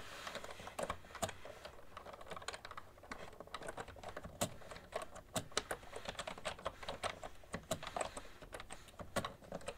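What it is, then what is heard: Plastic computer keyboard. Both hands type steadily with fingertips and long nails on a cream plastic ergonomic keyboard with hollow keys. The result is a continuous stream of short, hollow plastic clicks that die away almost instantly, with a few sharper, brighter taps standing out over the soft patter.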